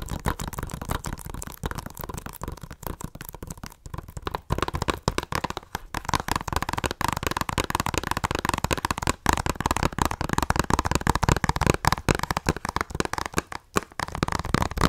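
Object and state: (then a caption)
Plastic Blu-ray case. Long nails tap rapidly on the cover of a hollow plastic Blu-ray case held in the hand. The result is a dense, continuous stream of short, dry clicks with a hollow, boxy body and a steady midrange tone, and almost no ring after each tap.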